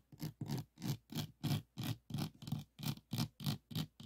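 Fingernails of both hands scratch across the plastic resin drills of a small, rigid, framed diamond painting lying on a wooden table. The result is a quick, fairly regular series of rough scratching strokes, each with a low, thick body and a bright, airy hiss above, separated by short silent gaps.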